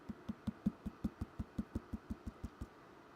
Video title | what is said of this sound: Live🔴 Pottery Trimming - Vertical Stream - Swan City Ceramics | you can hear it's a little thinner down here than it is at the top